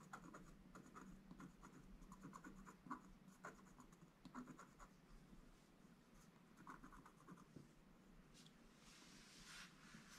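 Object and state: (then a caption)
Scratch-art paper page. A wooden stick scratches small areas of the black coating off a gold scratch-art paper page. Quiet, short, dry scratching strokes come in quick bursts with a soft rasp, and the scraping grows brighter and hissier near the end.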